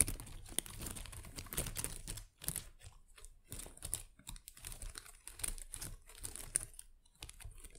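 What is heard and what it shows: Long acrylic nails tap and scratch the small plastic leaves of an artificial potted plant. Quick, crisp clicks mix with bright, crinkly rustling and scraping, with short pauses between bursts. A soft low rumble sits underneath.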